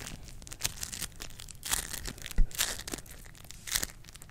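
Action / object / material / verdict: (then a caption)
scrape / floam slime with polystyrene beads / slime, polystyrene beads / none. A small handful of yellow floam, a soft, solid slime covered in polystyrene beads, is squeezed and pressed between long acrylic nails and fingertips held close to a microphone grille without touching it. The squishing produces dense crackling and crunching bursts with bright, high bead pops over a low, soft rumble. The loudest crunches come at about 0.7, 1.8, 2.4 to 2.6 and 3.8 seconds.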